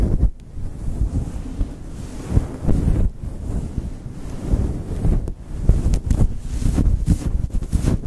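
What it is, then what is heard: Faux fur microphone windscreen being scratched. Long chrome nails scratch and rub a fluffy grey synthetic fur windscreen on a Blue Yeti microphone from both sides and grip its top. The result is a deep, muffled rumbling rustle with almost nothing bright, surging and dipping like gusts of wind against the mic.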